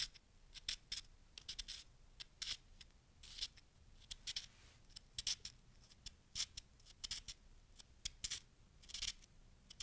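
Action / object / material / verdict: scrape / packed snow chunk / snow / none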